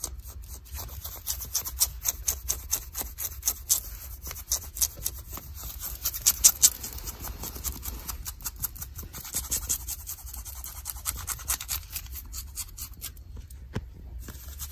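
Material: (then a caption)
Denim. Long nails scratch light blue denim jeans worn on a leg, making a rapid series of short, bright, raspy strokes. The strokes come in uneven bursts over a low steady hum and grow quieter and sparser toward the end.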